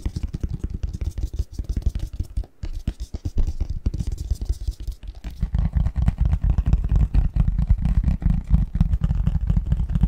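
Fingertips and nails scratch and tap the edges and face of a hollow, printed cardboard Christmas box lid with a snowman and Christmas tree design, held upright. A dense, uneven run of soft, dull taps and scratchy rustles sits mostly in the low end. Halfway through it becomes louder and fuller, with deeper, hollow thumps.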